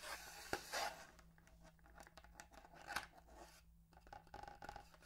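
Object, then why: Cardboard toothbrush box. Long manicured nails scratch and tap a hollow, long, narrow printed cardboard box holding a bamboo toothbrush, held in one hand. Quiet, dry scraping and crackling rub along the surface, broken by a few sharper, bright taps, over a faint steady low hum.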